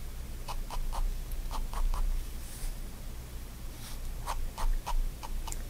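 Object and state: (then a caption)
Pen hatching on a paper sketchbook page. A fine-tip pigment liner pen makes repeated short hatching strokes on a white page of a spiral-bound paper sketchbook lying flat on a wooden desk. Each stroke is a quick, dry scratch, centered in the midrange with bright streaks above, over a steady low hum. The strokes come in loose, uneven bursts.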